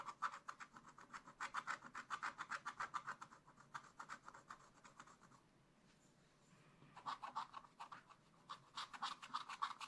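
A wooden stylus scratches fur lines for a raccoon into black wax-coated scratch-art paper in a spiral-bound pad. Quick, rhythmic, dry scratching strokes with a bright rasp centred near 1 kHz are heard. The strokes fade to a quiet pause midway, then resume in fast bursts.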